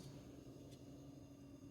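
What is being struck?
Nothing is struck.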